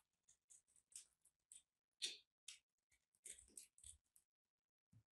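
A small, solid and crumbly white and purple chunk of dried soap is held in the fingers while a metal blade is pushed in to cut and crack it. Quiet, bright, crisp crackles and scrapes come in short separate bursts that stop quickly, with a soft low thump at the end. The soap is crushed and cut apart.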